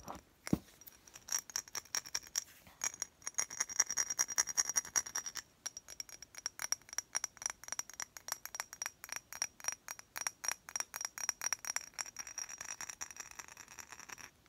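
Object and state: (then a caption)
Glass perfume bottle. A glass perfume bottle is tapped in a long run of quick, uneven taps. Each tap gives a bright, short clink with a thin high ring that dies away almost at once.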